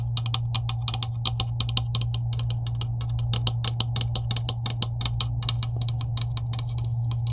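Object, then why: Plastic PVC pipe with couplings. A hand with long acrylic nails taps the middle section of a green, hollow plastic PVC pipe joined with couplings. The result is a rapid stream of 43 short, dry, bright clicks over a steady low hum.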